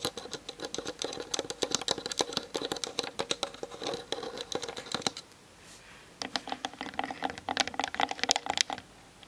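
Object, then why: Plastic camera lens barrel and body. Long nails tap rapidly on the hollow plastic lens barrel and body of a Canon DSLR on a tripod, captured by the camera's built-in mic. The result is a dense run of crisp, bright, clicky taps with almost no low end. They break off for about a second midway, then resume with a slightly hollower tone.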